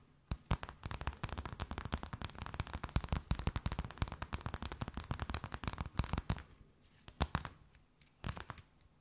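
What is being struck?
Thin flexible plastic sheet.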